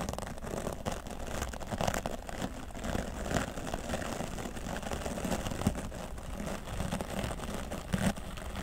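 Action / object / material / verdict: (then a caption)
scrape / foam microphone windscreen / foam / none. A hand holds a grey foam microphone windscreen while a wooden bristle brush sweeps across its left side. The result is a steady, dense, scratchy crackle with a heavy low rumble and soft swells as the strokes overlap.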